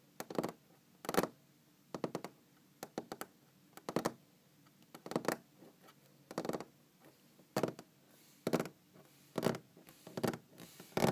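Long green-painted fingernails on both hands tap a large solid wooden tabletop in quick clustered bursts. Each tap is a short, dry click with a woody low-mid body and a faint bright edge, dying away almost instantly. Quiet pauses separate the bursts.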